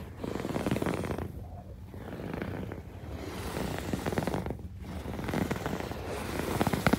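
Fingertips and long nails scratch and rub across the ribbed surface of a soft, padded, medium-size teal quilted fabric pillow lying on a white bed sheet. A dense, low, crackling scratching rises and falls in bursts with brief quieter gaps between passes.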